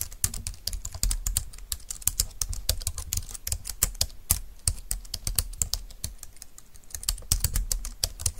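Fingertips and long nails type rapidly on a compact, thin, dark-green plastic Bluetooth wireless keyboard lying on a desk mat. The result is a fast, continuous stream of short, bright plastic clicks with soft low thuds beneath. Each keystroke stops almost instantly.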